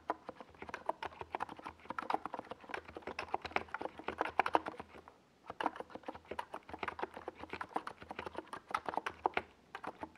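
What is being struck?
Plastic mechanical keyboard.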